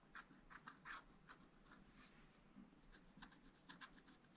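A wooden stylus scratches short strokes into a black-coated scratch-art paper page in a spiral pad. Each stroke makes a quiet, dry scratching burst centered in the upper mids with a bright edge, separated by brief pauses and decaying almost instantly.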